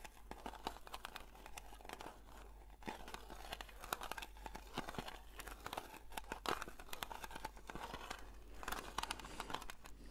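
A long index fingernail scratches the lid of a round blue metal Nivea cream tin that is being held up, giving a steady stream of fine, dry scraping and crinkly ticks. The sound is quiet, with many small bright clicks over a soft, close, low hum.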